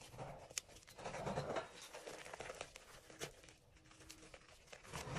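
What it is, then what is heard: Crumbled gym chalk powder. Fingers rub, squeeze and crumble dyed gym chalk that is mostly crushed powder with a few flakes, in an enamel bowl. Soft, dry crunching and crinkling rustles come in uneven bursts, with a few sharper bright snaps standing out.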